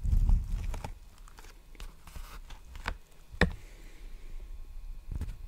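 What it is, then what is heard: Plastic bubble mailer. Fingertips tap and scratch along the surface and sealed edge of a large, empty black poly bubble mailer envelope held upright. The result is soft, dull, low-heavy taps with quick decay, scattered scratchy rustles, and a sharper click near the middle.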